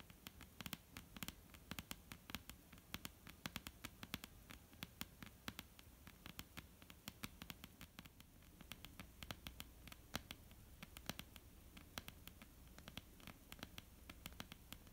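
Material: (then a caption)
Wood. Long almond-shaped painted nails scratch and tap on a solid, flat dark-brown wooden tabletop. Quick, dry, bright clicks come in dense, uneven bursts over a soft scratching rustle, each tick dying away almost instantly.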